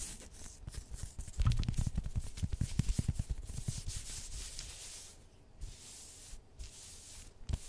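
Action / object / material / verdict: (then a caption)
scrape / polyester jersey fabric / polyester / none. Long white acrylic nails on both hands rub and scratch across the chest of a black pinstriped polyester football-style jersey with yellow trim, worn on the body. Quick, irregular strokes make dense, bright scratchy rustling over soft low thumps. The sound settles into a quieter, steady fabric hiss near the end.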